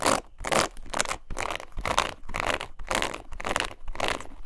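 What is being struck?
Plastic paddle hairbrush bristles.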